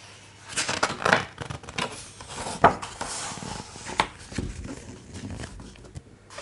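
Fingertips trace and rub over the images in an open, large hardcover art book with thick, glossy coated paper pages, then a page is turned. Soft papery rubbing and brushing is heard, broken by a few sharper crinkly snaps and a louder flick as the page turns over.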